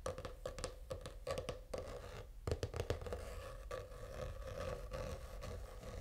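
Short fingernails scratch a purple faux-leather, reptile-textured notebook cover lying flat. The result is a quiet, dense run of quick, dry scratching strokes with a low, muffled body and a faint steady mid tone underneath, and very little bright edge.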